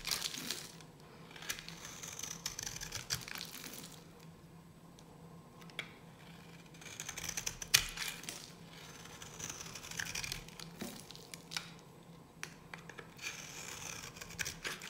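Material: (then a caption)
Soap. A solid, dry yellow bar of soap held in the hand is shaved with a metal blade, curling flakes off its surface. Repeated bright, crisp scraping and crackling strokes come in bursts, with quieter pauses between them and a faint steady low hum underneath.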